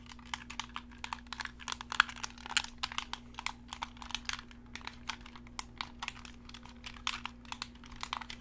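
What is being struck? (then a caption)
Plastic game controller. A hollow black Xbox-style plastic gamepad with colored face buttons is held in both hands while thumbs and fingertips press and click its buttons. A rapid, uneven stream of short, bright plastic clicks and taps plays over a steady low hum.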